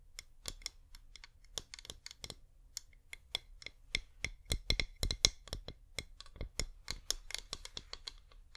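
A flameless wax pillar candle, held at an angle, is tapped with long painted nails in a quick, uneven run of sharp, bright clicks. Each tap is dry and short, with almost no ring, over a faint steady low hum.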